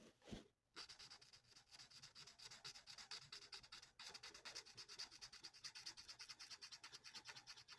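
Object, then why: Paper sheet rubbed with a felt-tip marker. The felt nib of a plastic alcohol marker colours a thin, flat sheet of printed paper lying on a table in rapid back-and-forth strokes. After a soft opening scrape and a brief pause, a steady run of bright, dry, scratchy rubbing strokes continues, with a short break near the four-second mark. The strokes stay high and hissy with almost no low end.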